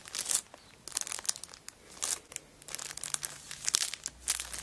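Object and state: Cellophane-wrapped paper notebook.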